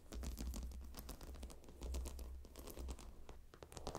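Long nails tap and scratch across the glossy stone tiles of a gemstone hot stone pillow, making a dense run of quick, clicky scratches and taps with bright edges. A steady low rumble sits underneath throughout.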